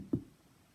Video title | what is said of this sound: Storytime with Miss Maureen - Pumpkins | a little louder sounds coming out